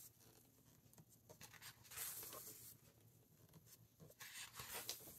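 Fingertips flip the glossy and matte paper pages of a large open hardcover book and smooth them down. Soft, dry papery swishes and crinkles come in uneven bursts, bright and airy with little low end. Each rustle fades quickly into quiet.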